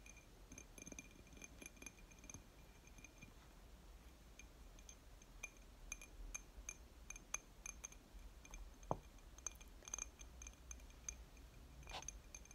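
A glass object is tapped and scratched with quick, light fingertip-style strokes, giving quiet, sharp clinks scattered over a soft scratchy hiss. Each tap is very short, with a bright glassy ring at the top of the sound, and a few slightly stronger clinks stand out near the middle and end.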